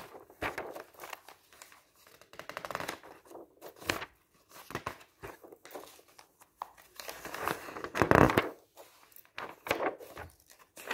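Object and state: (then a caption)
Glossy paper brochure pages being turned. Fingertips wearing rings lift and turn the pages of a large glossy paper travel brochure, open on a table, one by one. The result is a series of crisp, crinkly paper rustles and sharp flicks, with quiet gaps between the turns and a louder swish near the end.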